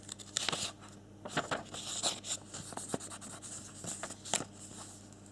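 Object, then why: Folded paper leaflet. A small, thin, flexible folded paper warranty and instruction leaflet from a pink Samsung Galaxy S7 edge box is held in both hands while fingertips and thumbs rub and flip its pages. Bright, crisp rustles and scratchy crinkles come in short bursts over a faint, steady low hum.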